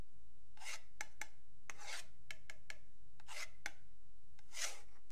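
A metal pen tip scrapes along the marked edge of a long, flat, solid wooden yardstick held by fingertips. Soft, airy rasping strokes alternate with short, bright clicks as the tip catches on the markings.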